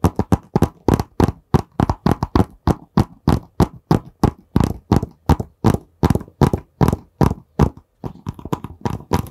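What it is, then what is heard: Cardboard product box. Fingertips tap and scratch a long, narrow, printed cardboard box, which is hollow and held horizontally. There are 38 quick, dull, hollow taps in an uneven rhythm, each one short and dry with a low thump and a brief papery scratch. The taps fade almost instantly with no ring.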